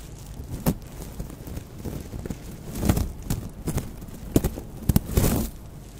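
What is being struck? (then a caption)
Woven raffia straw bag tassel. The dangling straw tassel of a woven natural raffia crochet bag is handled, rubbed and scratched with long acrylic nails and fingertips close to the microphone. A steady dry rustle of fibrous strands runs throughout, broken by short crisp scratches and clicks. The sound is close and low-heavy.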